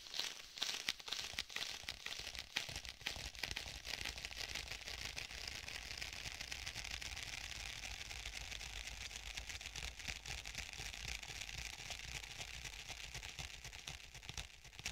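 Fingertips of both hands tap and press on the surface of a black stitched faux leather tablet case held close to the mic, with a likely sticky contact. Rapid, dense, crinkly and crackling taps are heard, bright and dry with almost no ring. They hold a steady, soft level throughout.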